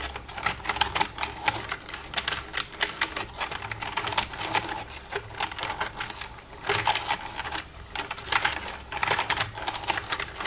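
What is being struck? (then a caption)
Plastic computer keyboard. Long red-painted nails tap and type across the keys of a black plastic desktop computer keyboard with a hollow casing, using both hands. The result is a steady stream of dense, bright, clicky taps that come in uneven bursts, each click dying away almost at once, with a faint low hum underneath.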